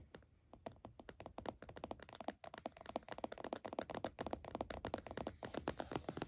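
Both hands rapidly tap the lid of a closed laptop in a purple plastic hard-shell case, resting on a towel, with fingertips and nails close to the front edge. The result is a fast, dense stream of short, dry plastic clicks and taps centered around a mid pitch, with quick decays.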